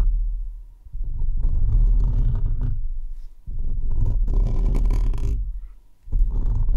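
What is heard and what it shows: Fingertips and short nails continuously scratch and rub the hollow, uncovered perforated metal mesh head of a microphone. The result is a deep, booming rumble with a low throbbing texture, rising and fading in three sustained passes separated by brief dips.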